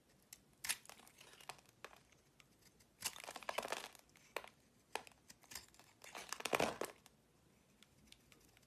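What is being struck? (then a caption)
Soap bar shaved with a blade. A utility-knife blade chips and shaves crumbly flakes from a solid, oval, purple marbled soap bar held in the palm. Quiet, dry crinkling scrapes and sharp little crackles sound in short bursts, with louder rasping runs around the middle and near the end. There is almost no low end.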